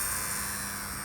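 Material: Nothing is struck.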